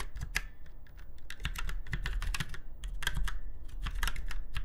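Fingertips of both hands type on a retro typewriter-style mechanical keyboard with round white keycaps in chrome-look rings on a silver frame. Rapid, bright, crisp key clicks come in quick, uneven bursts over a steady low hum.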